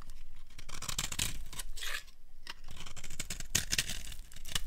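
A small metal blade scrapes and carves flakes off the edge of a solid, hand-sized oval bar of dry orange Palmolive soap held in one hand. The sound is a run of crisp, dry scraping and shaving strokes with bright, papery crackle over a faint low rumble, broken by short pauses.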